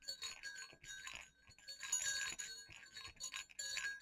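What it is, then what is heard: Metal jingle bells. Two small hollow silver metal jingle bells hanging on a cord against black fabric are shaken and clicked together. The result is quiet, bright jingling with high ringing tones and rapid clicks that come in clustered bursts.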